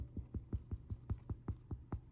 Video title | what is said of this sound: The MAX AC Channel #84: Medjugorje Fasting Bread | sounds Hollow when you tap the bottom